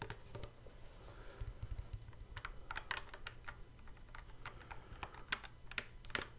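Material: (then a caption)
Plastic. Fingertips tap and click the plastic fret buttons on the neck of a hard plastic, hollow-bodied Guitar Hero guitar controller. The result is a quick, irregular run of short, dry, bright clicks that die away almost instantly, over a steady low hum.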